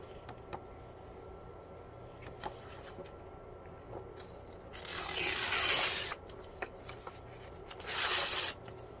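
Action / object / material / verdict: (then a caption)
scrape / thin printed paper sheet / paper / none. A single thin white printed paper sheet is held in both hands while fingertips with painted nails crumple and tear it. Quiet rustles and small crackles run through the clip, broken by two loud, bright ripping bursts, one lasting about a second and a half and a shorter one near the end.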